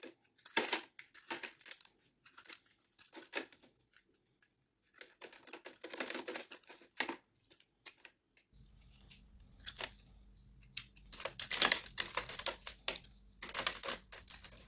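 A solid, cracked, dry green bar of soap is held in the hand and cut and scraped with a metal utility-knife blade, and crumbs fall into a plastic tray. Bright, crisp scratching and crackling come in quick bursts separated by short pauses. A faint low hum runs under the second half.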